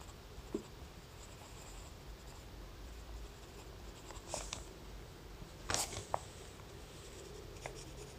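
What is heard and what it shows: A graphite pencil draws small detail marks on a sketch on a thin lined notebook page, making quiet, dry scratching strokes over a low steady background hiss. A few brief, brighter scrapes stand out, with the clearest around the middle and later in the clip.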